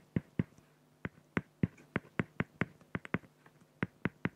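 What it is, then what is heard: Pen strokes on acrylic sheet. A felt-tip pen makes rapid, short hatching strokes on a flat, clear acrylic plexiglass sheet. The strokes come through as 16 quick, dry, scratchy ticks in uneven bursts, each with a soft low thump and a faint bright edge that dies away almost instantly.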